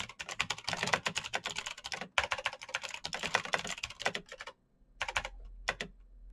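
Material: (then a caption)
Plastic. Fingertips type fast on a black Razer BlackWidow mechanical keyboard with plastic keycaps on clicky green switches, giving a dense run of sharp, bright clicks. The typing stops briefly after about four and a half seconds, then a few scattered keystrokes close the clip.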